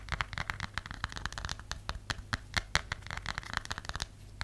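Long nails tap and scratch the textured back of a cream plastic or silicone phone case, likely with a phone inside. A quick, irregular run of sharp, dry clicks is heard, with light scratchy rasps between them and a faint low hum underneath.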